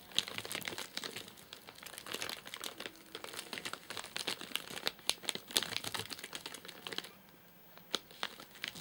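Fingertips scratch and tap the top of a flat, sealed white plastic and paper-laminate wrapper with crimped edges, full of nougat bars and lying on a sofa. The result is a steady, bright crinkling dotted with sharp little clicks and taps. It briefly quiets near the end before a few last taps as the hand withdraws.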